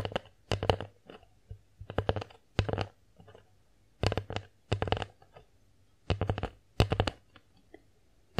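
A bear-shaped wooden plate is tilted in the hands while long nails tap and scratch its face and edges. Quick clusters of crisp, bright clicks come in bursts over a low hum, with soft scraping between them and little ring after each tap.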